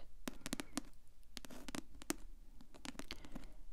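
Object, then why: Paperback book with glossy paper cover. Long acrylic nails tap the glossy paper cover of a thick paperback novel held upright, making a soft pattering of quick, dry taps. Each tap is a brief low thud with a faint bright click and almost no ring, scattered unevenly over a quiet background.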